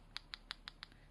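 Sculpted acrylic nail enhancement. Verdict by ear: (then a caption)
Set. A sculpted artificial nail, used to repair a broken nail, is tapped on its form while it cures. Five sharp, light clicking taps are heard, evenly spaced. The high, crisp tone shows the nail enhancement has fully set and is ready to come off the form.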